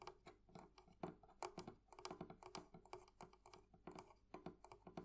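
The metal fittings of a wooden thrift-shop barrel chest are tapped with fingernails and fingertips. This produces a quiet, steady stream of quick, light clicks and taps. Each one is short and dry with only a brief ring.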